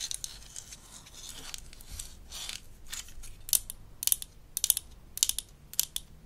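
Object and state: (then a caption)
Plastic toy dental tool. A small, hollow blue-and-white plastic toy dental instrument from a Melissa and Doug Super Smile Dentist Kit is held in the hand while long acrylic nails scratch and tap along its body. Soft, hissy scratching strokes come first, followed by sharp, bright, clicky taps at an irregular pace. Each tap stops dead, with almost no ring.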